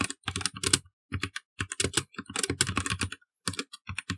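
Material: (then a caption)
Plastic. Fingertips tap and press the plastic keycaps of a black plastic mechanical computer keyboard while typing code, producing bursts of quick, dry clicks with a low thock under each press and a bright clatter on top. The keystrokes come in uneven clusters separated by short silent pauses, each click ending almost instantly.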